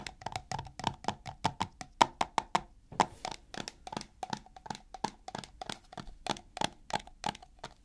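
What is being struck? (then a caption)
Plastic jar with plastic lid. Fingertips and nails tap on the lid and body of a white plastic coconut oil tub with a blue plastic lid, held in the hands. About 33 quick, dry, hollow taps with a pitch near 900 Hz stop almost instantly, with a brief scratchy rustle around the third second.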